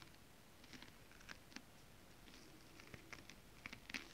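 Flat hands and fingertips rub and press a flat sheet of shiny holographic mermaid scale-printed fabric, with occasional fingernail taps. A quiet, steady soft rustle runs throughout, broken by short, sharp, bright ticks that die away almost instantly.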